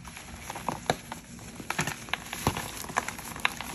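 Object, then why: Reformed gym chalk block in a metal dish. Yellow-gloved hands press into a large, solid, lilac-tinted reformed gym chalk block with glitter sitting in a round metal dish, crushing it with fingertips and palms. Sharp, dry, bright crunches and crackles pop out over a soft gritty hiss as the block crumbles into powder and chunks.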